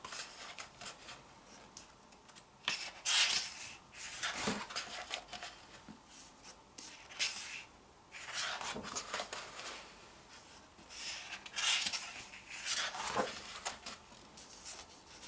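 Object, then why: Glossy paper photobook pages. Long painted fingernails and fingertips slide and rub across the thin glossy pages of an open photobook while turning them. The result is a series of bright, dry swishes and paper crinkles with faint nail clicks and almost no low end.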